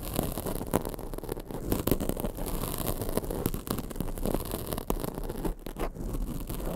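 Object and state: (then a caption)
Foam microphone windscreen, scratched. A black foam microphone windscreen is scratched with long acrylic nails, producing a continuous, dense rustling scrape with many quick, soft scratchy strokes. The sound is mostly low and muffled, with brief brighter flicks and no lingering ring.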